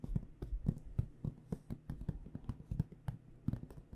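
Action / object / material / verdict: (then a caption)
tap / aluminum-framed hard case / aluminum / none. Long dark-painted nails tap and lightly scratch across the front panel of a hollow AKG microphone hard case with an aluminum frame and black panels, held upright. A quick, uneven series of soft, dull, hollow knocks sits mostly in the low range, each dying away almost at once. Faint scratchy strokes fill the gaps between them.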